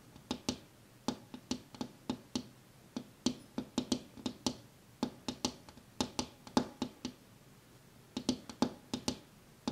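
A glass window pane is tapped with one hand in quick, irregular bursts of light taps. Each tap is a short, bright click with a brief low ring near 250 Hz that dies away almost at once. A soft background hiss runs between the taps.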